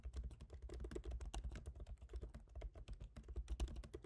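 Both hands type rapidly with their fingertips on a MacBook Pro keyboard, tapping black plastic keycaps set in a silver aluminum body. Around thirty quick, soft taps come in a steady stream, each a short clack with a dull low thump and almost no ring.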